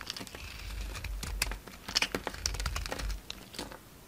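A solid orange bar of soap held in the hand is shaved and carved with a utility knife blade, sending flakes falling off. Quick, dry scraping and cutting strokes give crisp, bright crackles and clicks over a soft low rumble.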